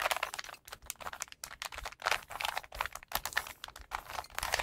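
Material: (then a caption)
Plastic. Fingertips rapidly twist and turn the layers of a small, solid plastic 3x3 Rubik's cube with colored stickers. The result is a fast, continuous run of dry, bright clicks and rattles in uneven bursts, with very little low end.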